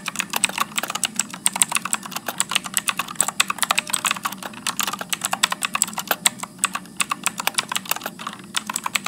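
Fingertips type continuously on a backlit Motospeed mechanical keyboard with blue switches and plastic keycaps, entering text onto a screen. A steady, rapid stream of dozens of sharp, bright clicks sounds with almost no ring after each keystroke. There is little low end beneath the clicks, only a faint soft murmur.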